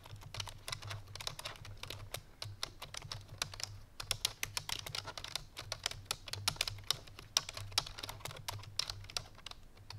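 Fingertips and painted nails of both hands type rapidly on a full-size black plastic computer keyboard resting on a white fur rug. A dense stream of short, bright, clicky key taps dies out almost instantly, over a steady low hum.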